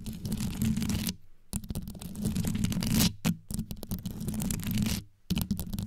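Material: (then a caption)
Metal, rhinestones. Both hands grip a metal microphone grille covered in small rhinestones while long yellow nails scratch quickly over the studded surface. The result is a dense, rapid scratching with a deep, boomy low end and a gritty high rasp, broken by a few brief pauses.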